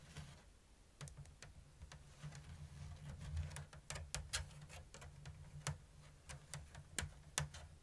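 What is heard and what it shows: Long blue nails tap the thin bamboo strips of a round, hollow woven basket with an open diamond weave. The result is a quiet, uneven run of sharp, dry, bright ticks that die away almost instantly, over a steady low hum.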